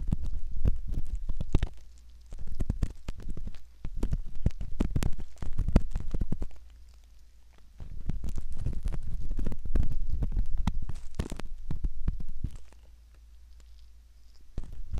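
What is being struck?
Silicone ear model scraped with a metal pick.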